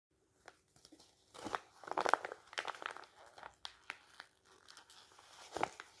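A thin, flat strip of glossy magazine paper, held in both hands above a stack of magazines, is torn and crumpled by the fingers. It makes quiet, crisp crackles and short tearing rips, with a dense burst of crinkling in the middle and scattered sharp crinkles after it. Each sound stops almost at once.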